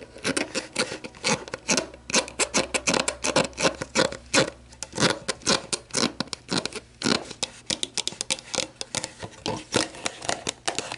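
Long black nails scratch and rub the body, orange cap and label of an empty, hollow, clear plastic sports drink bottle lying on a table. A rapid series of short, dry scratches and clicks sounds bright and crackly, with a faint hollow resonance around 500 Hz and almost no low end.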